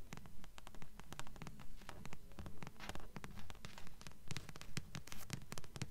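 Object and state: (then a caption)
Paperback book cover. Long nails tap and scratch the glossy card front cover of a thick blue Black Jewels trilogy paperback, a solid paper block held upright in both hands. The taps come in a steady, quick rhythm, each a short dull knock with a bright, crisp click, overlaid by soft scratching between them.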